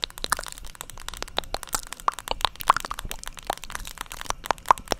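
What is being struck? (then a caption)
Plastic paddle hairbrush. A black, hand-sized, hollow-backed plastic paddle hairbrush is held beside the microphone and tapped repeatedly with long acrylic nails. The result is a rapid, irregular run of sharp, dry clicks that ring briefly around 1 kHz with bright edges and almost no low end.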